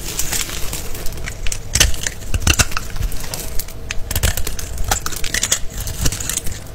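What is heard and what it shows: A small green-handled blade cuts grid lines into a solid, rectangular, palm-sized black-and-white striped bar of soap held in the hand, then scrapes off the small cubes, which fall onto shavings. The clip is a steady run of crisp scraping and crunching, with sharp bright cuts over a low, dull rustle.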